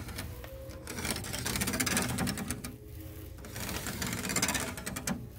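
Fingertips quickly scratch and rake across a light wooden louver panel with many thin parallel slats, like a shutter or cabinet door, in a store. The result is a fast, uneven, bright clattering of dry ticks and rasps over a steady low rumble, swelling louder in two long bursts.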